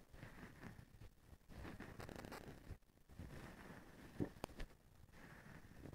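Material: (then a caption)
Plastic. Fingers scratch and rub the strand bundle of a plastic feather duster with blue plastic strands on a white handle. The result is a quiet, close, continuous rustling and crinkling that is mostly low and muffled, with brief bright flicks and a few sharper scratches near the end.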